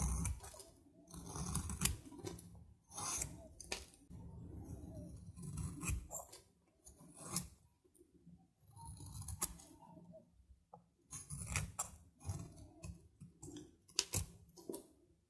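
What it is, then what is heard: Dry soap bar. A metal knife cuts and shaves crumbly flakes off a solid dry soap bar, partly carved and held in hand, as the shavings pile up. Short, dry scraping crunches with bright, crisp edges recur in bursts over a low rumbling base, each cut quickly fading to quiet.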